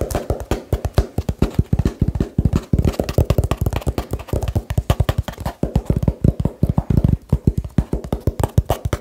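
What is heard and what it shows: Fingertips tap fast on a small hollow cardboard box close to the mic, producing a rapid, uneven stream of dull, low thumps. Each tap dies away almost at once, with a faint papery click on top.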